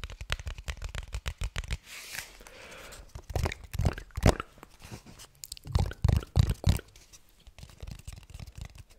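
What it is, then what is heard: Cardboard gift box tapped and scratched. A small red patterned rectangular gift box, likely cardboard with a glossy printed surface and hollow inside, is held in both hands and tapped and scratched with fingertips and nails. Quick, irregular hollow taps with a low, dry thump give way to a soft, brushing scratch. Then come louder, booming knocks and lighter scattered taps.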